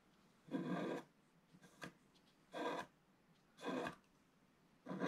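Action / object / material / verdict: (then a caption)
scrape / wax-coated scratch-art paper scratched with a wooden stylus / coated paper / none. A wooden stylus held in the fingers scratches the black wax coating of a flat scratch-art page, gold/colored paper beneath, lying in a book, at its lower edge while the other hand steadies the page. Four rasping strokes are heard, each about a quarter to half a second long, with faint ticks between them and the last cut off at the end. The scrapes are dry and grainy, mostly midrange with a thin bright edge.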